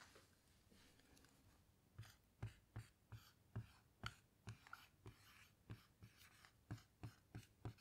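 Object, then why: Small plastic-framed whiteboard with dry-erase marker. A hand writes letters with a felt-tip dry-erase marker on a small, flat, handheld dry-erase whiteboard with a grid-textured surface and a light plastic frame, lying on a table while long patterned nails rest on the table. After a quiet start, the marker glides and scratches in a series of short, soft strokes, each with a dull low tap and a faint bright scrape that dies away almost at once.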